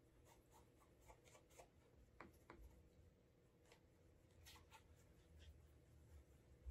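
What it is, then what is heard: Leather dress shoe being buffed. A brown leather Alden Straight Tip Blucher dress shoe is held in hand while its toe and side are rubbed and buffed with a cotton cloth wrapped over the fingers to create a wax burnish. Quiet, soft swishing strokes brush across the leather in a steady rhythm, with a few brighter, sharper rubs standing out over a low background rumble.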